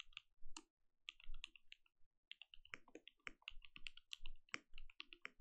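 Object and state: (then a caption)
Mechanical keyboard with plastic keycaps. A compact mechanical keyboard with plastic keycaps and a translucent lit case is typed on with fingertip presses from both hands. The result is an uneven, rapid run of short, dry keystrokes, each a deep low thock topped by a bright click that dies away almost at once, with brief pauses between bursts.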